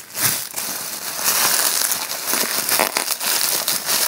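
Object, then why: Plastic bubble wrap. A rolled piece of clear plastic bubble wrap is held in both hands while the thumbs squeeze and pop the bubbles. The result is a steady, dense run of bright crinkling and sharp crackling pops with almost no low end.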